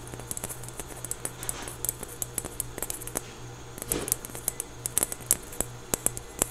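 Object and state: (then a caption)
Foam stress ball. A small, solid, soft orange foam stress ball patterned like a basketball is held close to the camera and squeezed and scratched with fingertips and nails. The result is a rapid series of sharp, dry clicks and bright, high scratching ticks over a faint steady low hum, with brief rustling swells near the start and middle.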